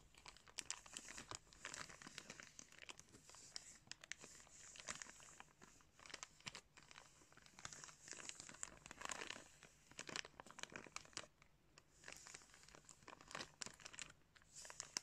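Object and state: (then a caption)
Crinkling plastic bag. A hand squeezes and crinkles a clear plastic bag wrapped around a pair of blue sunglasses. The result is a soft, continuous stream of bright, crackly crinkling that swells in bursts and fades between them, with almost no low-end.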